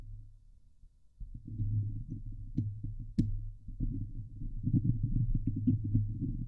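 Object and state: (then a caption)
Metal mesh microphone grille being scratched. Long glittery fingernails on both hands scratch the hollow steel mesh grille of a Blue Yeti microphone. The result is a dense, low, rumbling scratching with a faint hum, punctuated by sharp clicks. It starts quietly for about a second, then builds into steady, busier scraping.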